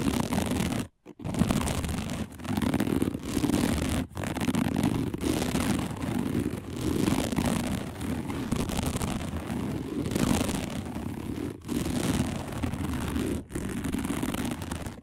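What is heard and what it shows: A round, flat, dark placemat woven from coiled plastic strands lies on a table and is scratched rapidly with the long nails of both hands. The result is a steady, dense, low-pitched scratching rustle in continuous bursts, separated by a few brief silent pauses.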